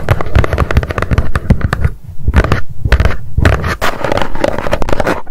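Long nails tap rapidly on the lid of a small, hollow white cardboard box lying flat, producing a dense run of short, dull, low thumps with little brightness. The tapping comes in quick bursts with brief lulls before the hands lift away at the end.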